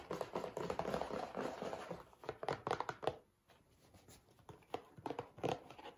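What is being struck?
Cardboard tissue box.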